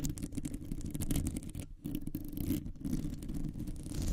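Long nails scratch quickly across a round, hollow metal mesh microphone grille, making a dense, rapid scraping. The sound comes through mostly as a deep, buzzy rumble with a faint bright hiss. It continues without a break except for two brief dips midway.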